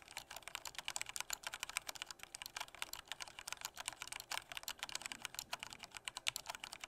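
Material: Plastic.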